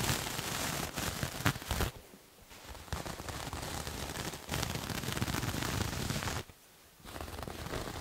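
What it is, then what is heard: Knit fabric being scratched. Fingernails scratch the surface of a soft, multicolored striped knit or fleece cloth, sock-like and held in one hand, making a dense, dry, crackling scrape across the full range from low rustle to bright hiss. The scratching runs in steady bursts, briefly softening around two seconds and pausing near the six-and-a-half-second mark before resuming.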